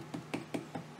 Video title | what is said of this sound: I Found a Burl While Walking in the Woods, Let's See What It Looks Like! | it sounds solid enough